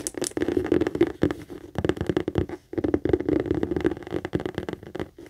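Long acrylic nails quickly tap and scratch the stitched flat base and handle of a hollow, medium pink saffiano leather handbag. The result is a dense run of dry, muffled taps mixed with scratchy rustling, each tap dying away almost at once with a mid-range hollow tone.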